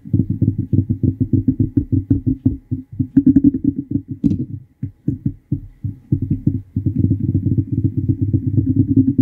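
A fingernail strums along the teeth of a large, solid, wide-tooth yellow plastic comb held above the microphone in a scratching action. Rapid runs of dry, dull clicks form a low buzzing rattle, briefly breaking into sparser, separate ticks midway before the steady rattling resumes.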